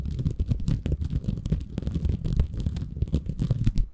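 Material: Bamboo fiber.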